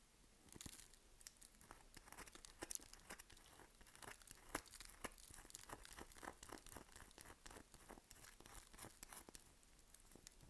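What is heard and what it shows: Long nails scratch the surface of a solid, dry lilac bar of soap held in the hand, scoring lines into it with quick strokes. Soft, dry, crackling scrapes repeat irregularly, about two per second. Each stroke is brief and bright, over a quiet hiss.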